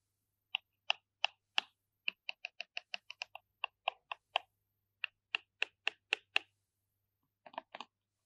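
Short fingertips tap and scratch the surface and edges of a small, hollow, square purple cardboard MAC Magnificent Moon eyeshadow palette box with gold foil print, held in both hands. About 25 crisp, bright ticks and light crunches come in quick, evenly spaced runs, each dying away almost instantly, with a softer, slightly rougher cluster at the end.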